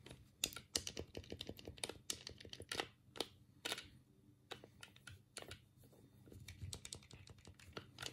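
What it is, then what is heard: Plastic game controller buttons clicking. A black, hollow plastic Sega Mega Drive game pad is held in both hands while the thumbs click its D-pad, buttons and start button. The result is a quiet, irregular run of short, dry, bright plastic clicks that stop almost instantly, with a few louder snaps among them.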